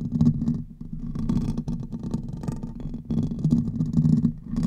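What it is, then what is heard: Metal microphone grille scratched. Fingernails on both hands scratch continuously across the hollow metal mesh grille of a large silver Blue Yeti-style microphone. The result is a dense, close, rumbling scrape centered low around 200 Hz, with crackling bursts that flicker up into brighter, high frequencies and swell and dip in loudness over about five seconds.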